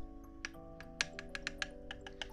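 Heavy metal fake Halloween fingernails tap about ten times, each a short, bright metallic clink. Steady, quiet sustained tones continue underneath throughout.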